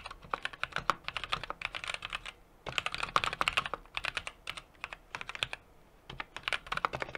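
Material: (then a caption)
Metal, plastic. Fingertips of both hands rapidly tap the keys of a small 60% mechanical keyboard with an aluminum case, brass plate and plastic keycaps. The result is bursts of sharp, bright clacks that die away almost instantly, with brief pauses between runs of typing.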